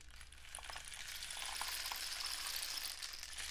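A painted cardboard rain stick with a dark end cap is tilted and tapped with fingertips. It gives a dense, bright pattering rush like falling rain, with faint clicks scattered through it over a low steady hum. The sound builds over the first second and a half, then holds steady.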